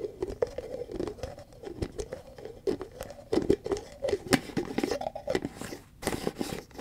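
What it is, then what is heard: Plastic cream tub. A large white plastic Cetaphil tub with a green plastic lid is tapped and scratched with long fingernails, and its lid is lifted and replaced. The sound is a quick, uneven run of dry clicks and scratchy scrapes over a hollow, low-mid plastic resonance, with bright tap transients and almost no ring. It ends in a burst of sharper taps.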